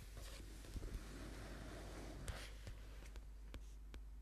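Fingernails tap the cover of a thick paperback book lying flat, making soft, scattered clicks over a quiet, papery rustle. The taps are brief and dull with a bright edge, and the body of the sound sits mostly low.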